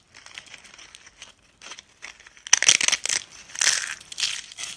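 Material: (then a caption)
Soap. Both hands squeeze and crush pale yellow dry soap shavings and brittle sheets into small flakes on a countertop. Quiet, dry crinkling for the first half gives way to louder, sharp, bright crunching bursts. The sound is crisp and high-pitched, with almost no low end.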